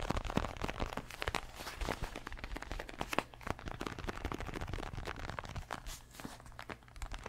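Fingernails tap and scratch across a large, stuffed red boxing glove of padded synthetic leather. The sound is a steady stream of quick, dry clicks and rough scraping over a soft, muffled low thud from the padding, with brief crinkly flecks up high.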